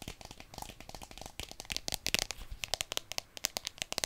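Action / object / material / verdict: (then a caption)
tap / plastic phone case / plastic / none. Long dark-painted nails quickly tap and scratch a handheld smartphone in a solid white marble-pattern plastic case with a round pop grip. A rapid string of sharp, bright clicks and crackly scratches rises from faint to louder, each hit dry and very short with almost no low end.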